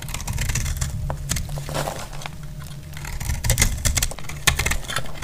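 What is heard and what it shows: A hand-held solid white bar of soap, dry and brittle, is cut and shaved with a metal blade, and flakes fall onto the cloth. Crisp, bright crackling scrapes and short snapping bursts come in quick irregular bursts over a steady low rumble, with the sharpest snaps in the last two seconds.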